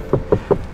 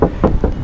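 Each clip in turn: First: sound-deadened car door, solid. Second: hollow-sounding car body panel without sound deadening.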